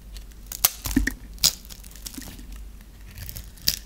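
A metal blade shaves a dry, hand-held solid brown bar of soap that has been cross-hatch scored, breaking it into small crunchy cubes. Bright, crisp crunches and crackles come at an irregular pace, with a few sharper snaps standing out over a soft scraping texture.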